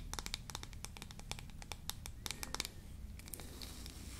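Long nails scratch and tap the teeth and edge of a small, solid, yellow-painted wooden toy comb held in both hands. Quick, dry, bright clicks and raspy scratches come in rapid bursts over a faint low hum, easing into softer, sparser scraping near the end.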